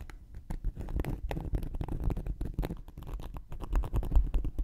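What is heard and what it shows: A thin wooden knitting needle scratches and pokes a round, flat, solid cork coaster held in one hand. The result is a dense run of quick, dull scratches and soft taps, heavy in the lows with almost no brightness. Each stroke dies away almost instantly.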